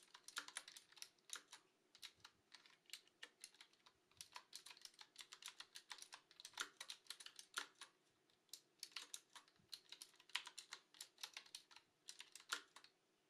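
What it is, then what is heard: Mechanical keyboard with plastic keycaps being typed on. Hands with long glossy nails type steadily on a black, typewriter-style Qwerkywriter S retro mechanical keyboard with round plastic keycaps. Dozens of quick, bright, clacky key taps rattle out in an uneven rhythm, each dying away almost instantly, with no low-end thump.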